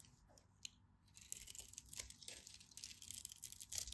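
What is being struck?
Solid soap bar.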